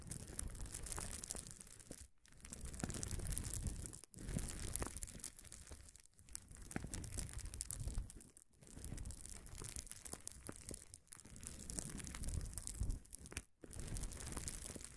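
Both hands scratch and rub the surface of a large, flat, air-filled sheet of gold-tinted plastic bubble wrap lying on a table, using fingertips and nails around a field recorder that sits untouched on the sheet. The result is dense, continuous crinkling and scratching with a heavy low rumble and bright crackle on top, coming in long bursts separated by brief silent pauses.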